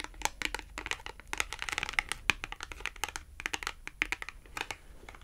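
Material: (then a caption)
Coated cardboard. Long acrylic nails tap rapidly across the face of a small, thin, flat, red glossy-coated cardboard Tom and Jerry clothing tag. The result is a quick stream of dry, bright clicks and light crinkly scratches that stop instantly with no ring.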